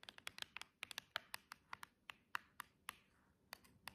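Long jeweled acrylic nails tap and scratch along the side edge of a small, hollow cardboard nail box. The result is a quick, irregular run of about 19 light, dry clicks with a bright, papery tick and almost no ring, separated by faint scratchy rustle.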